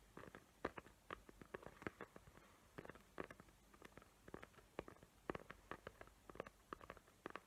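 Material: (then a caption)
Cardboard. Long nails tap and scratch the lid of a small square cardboard gift box covered in glitter paper with hot-glue tree outlines, held in both hands. Quick, dry, clicky taps come in irregular bursts with soft scratchy rasps between them. Each tap is short and mid-pitched and dies away almost at once, all at a quiet level.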